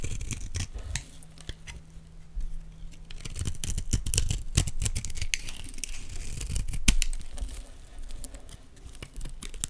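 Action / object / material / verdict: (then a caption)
scrape / olive oil bar soap / soap / none. A utility knife blade scrapes fine flakes off a solid green Dalan olive oil bar soap held in the hands. The result is a quick, irregular run of dry, crisp scraping strokes with bright edges over a low rumble, with no ring after each stroke.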